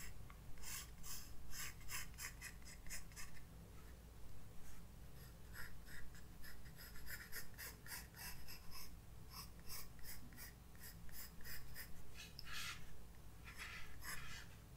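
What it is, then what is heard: Pencil drawing on a paper sketchbook page. A graphite pencil draws strokes on a white paper page of a spiral-bound sketchbook resting on a desk. Quiet, bright, scratchy bursts of pencil strokes come in an irregular rhythm, with short pauses between them. A steady low hum runs underneath throughout.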